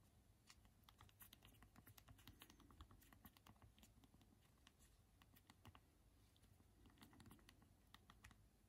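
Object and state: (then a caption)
Plastic phone keyboard typing. A Unihertz Titan phone is held in both hands while thumbs press its small plastic QWERTY keys in typing taps. Short, quiet, bright clicks come in irregular bursts with a brief lull, over a low background rumble.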